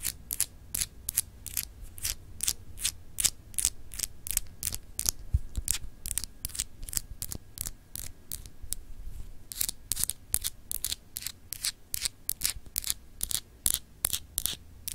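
Long acrylic nails scratch a small solid clear glass globe paperweight with frosted etching, producing about fifty quick, bright, dry scratches at an uneven rhythm. Each stroke is short with almost no ring, set over a soft low rumble throughout.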